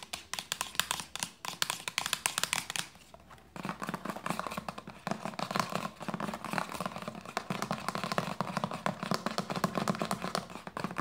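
Long nails tap quickly on the cap and body of a hollow white plastic lotion bottle with a red cap, making a dense stream of short, dry, bright clicks with almost no ring. The tapping eases briefly around the three-second mark, then resumes steadily.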